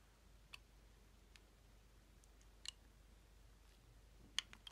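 A metal utility-knife blade shaves and scrapes curls from the edge of a hand-sized, solid rectangular bar of black Belarusian charcoal soap, held in the hand over a wooden table. Six short, bright, crisp clicks stand out at uneven intervals against a faint, steady background hush, each dying away almost at once.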